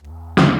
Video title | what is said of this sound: Pier & Beam or Slab? Foundation Repair Clues Every Homeowner Should Know | this makes a distinct, very hollow sound. When you do something like take a tennis ball and throw it against the floor